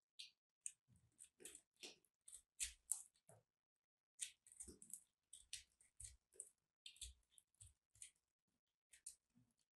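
A small, solid, crumbly white and purple dried soap chunk is held in the fingers while a metal blade is pushed in to cut, crack and crush it. About nineteen short, bright crackles and snaps are heard, mostly high and dry with little low end, in two runs separated by a brief pause.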